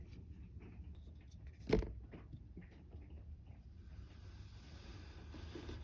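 A wooden pestle-like stick pounds down on a small, solid grey-purple kinetic sand mound molded into a cup shape on a white textured mat. One dull, low thud stands out over a quiet background, followed by soft, faint crumbling rustles as the mound is flattened into a crumbled patty.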